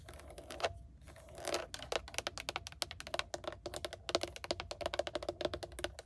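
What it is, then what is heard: Hard plastic steering wheel hub. Long manicured nails tap quickly across the hard plastic airbag cover and chrome-trimmed logo of a GMC truck steering wheel hub, a solid mounted surface. The result is a dense run of short, dry, bright clicks that die away almost instantly, with a faint ringing tone near 650 Hz under the taps.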